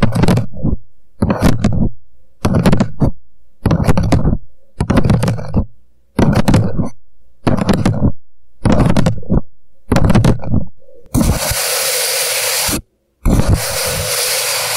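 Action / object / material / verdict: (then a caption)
tap / upside-down paper cup / paper / none. Fingertips tap and scratch the sides of an empty, hollow paper coffee cup turned upside down, with hands moving around the cup. Quick bursts of deep, hollow tapping repeat about every second and a quarter, each fading away. In the last few seconds they give way to a steady, bright scratching hiss, broken by one brief silence.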